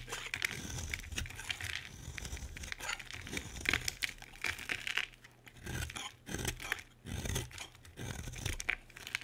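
A solid, dry pink bar of soap held in the hand is carved with a metal utility blade, sending curls of shavings falling. The sound is a series of bright, crisp scraping and crackling cuts that come in bursts, with short quieter pauses between strokes.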